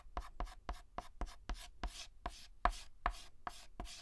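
A white chalk stick makes rapid hatching taps and rubs on a flat black chalkboard while filling in a letter. About twelve short, dry clicks each trail a brief scratchy hiss that reaches up bright. They come at an uneven, quick pace and fade almost at once.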